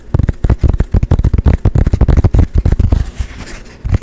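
A small, dark painted canvas panel, a thin flat board held in both hands, is tapped quickly with fingertips and nails. It gives a rapid, irregular run of dull, low, thumping taps that die away almost instantly. The taps briefly thin into a soft scratchy rustle before a few final knocks.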